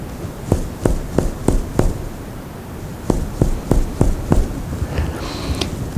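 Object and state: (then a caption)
Normal resonant lung on chest percussion. A middle finger strikes another finger resting on a human chest over the lung, hitting at the joint between the middle and distal phalanx. Two quick series of five short, dull, low thuds are heard, with a fainter tap near the end. This is the normal lung percussion sound.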